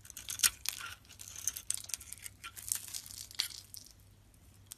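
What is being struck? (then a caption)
Solid bar soap scraped by a metal blade. A palm-sized solid pink Arko bar soap, held in hand, has its surface shaved and scraped off with a metal box-cutter blade. It makes a dense run of bright, dry scratching and crinkly crackles in short bursts with almost no ring. The strokes thin out and fade near the end, leaving a faint low hum.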